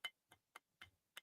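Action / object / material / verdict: tap / glass-filled polymer knife grip / glass-filled polymer / solid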